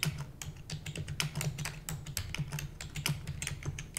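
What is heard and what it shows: Rapid typing on a full-size black plastic computer keyboard with hollow keys, struck with the long nails and fingertips of both hands. Dense, bright clicks and taps patter quickly over a steady low hum around 150 Hz, each keystroke dying away almost at once.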